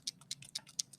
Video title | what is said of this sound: Rose Today - Guided Video Instruction | That's like a little bead inside the marker moving around.